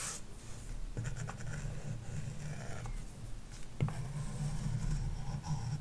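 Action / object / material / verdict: scrape / plastic stylus tip on a glass tablet screen with matte film / glass, plastic film / none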